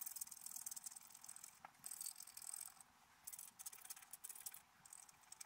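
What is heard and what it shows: A wooden stylus scratches branch lines into a black-coated scratch-art paper card held flat. The result is a quiet, bright, dry rasping in short bursts with brief pauses between strokes.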